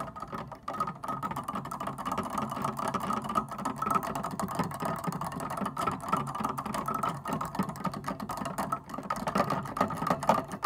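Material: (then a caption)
Plastic. Fingertips and nails rapidly tap and drum on the plastic black and white keytops of a wooden upright piano, without pressing the keys down to play notes. A dense, continuous stream of soft clicks and knocks sits mostly in the low-mid range, with a faint steady tone near 880 Hz. Each tap decays quickly, with very little bright content.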